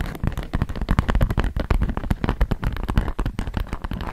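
Fingertips and long nails rapidly tap and scratch a flat, thin polka-dot sheet of beeswax-coated cotton food wrap held taut. The result is a dense run of short, dry, low thumping taps with brief crinkly scratches, each dying away almost instantly.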